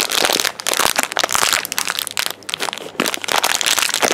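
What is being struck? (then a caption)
Foil-plastic candy wrapper. A small, shiny blue foil-plastic chocolate wrapper is held close and crinkled and squeezed with the fingers. The result is dense, bright crackling and crinkling in continuous bursts, briefly easing around the half-second, 2.4-second and 3-second marks.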